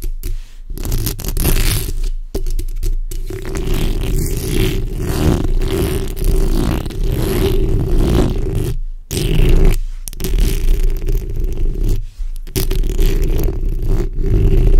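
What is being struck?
Metal mesh microphone grille.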